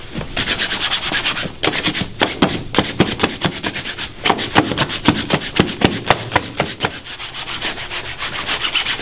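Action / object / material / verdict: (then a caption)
scrape / leather dress shoe buffed with a cloth / leather / none. A black leather dress shoe, worn on a foot and resting on a wooden shine stand, is buffed with a long cloth pulled back and forth across the toe with both hands. The result is a quick, steady run of bright, hissing swishes, about four strokes a second, with some strokes snapping louder in the middle of the clip.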